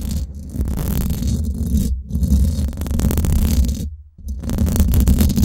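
Long fingernails of both hands scratch across the hollow, domed steel mesh head of a Blue Yeti microphone. The result is a dense, continuous, muffled scraping rumble, heavy in the deep lows, with brief near-silent gaps around 2 seconds and 4 seconds before the scratching resumes.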